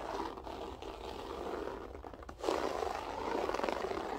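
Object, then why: Loop-pile floor carpet. Fingertips with long acrylic nails scratch a flat beige loop-pile floor carpet with a textured loop pile. The result is a continuous dry, raspy scraping centered in the midrange, with a brief dip just before it grows louder and denser around the halfway point.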